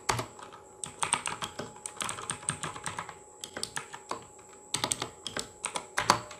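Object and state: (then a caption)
Plastic mechanical keyboard. Fingertips of both hands type rapidly on the plastic keycaps of a full-size RGB mechanical gaming keyboard. Quick, crisp clacks come in bursts with short pauses, each one short and sharp with little ring. A faint steady high-pitched whine runs underneath throughout.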